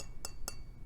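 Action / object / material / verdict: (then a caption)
tap / small metal piece / metal / none. A small, light, silver-colored metal piece weighing 23 grams is clinked twice, giving two short, bright metallic clinks over a low background hum. It sounds like metal, setting it apart from a lighter piece with a dark woven pattern marked Boeing.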